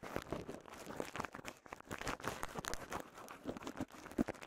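A small wad of clear polyethylene bubble wrap is squeezed, popped and crinkled with fingers. It makes a steady, quiet stream of crinkling and rustling, broken by sharp, dry pops that snap off almost instantly, with a louder pop near the end.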